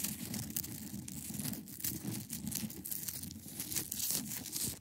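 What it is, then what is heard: Ice block scratched with nails. Long acrylic nails scratch across the top of a large, solid, clear ice block. The result is a steady run of bright, rasping scrapes layered over a low, grainy rumble, with short strokes that swell and fade.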